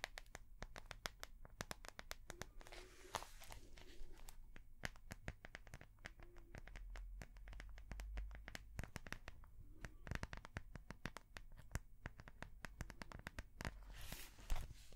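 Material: Plastic.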